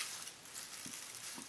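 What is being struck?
Nothing is struck.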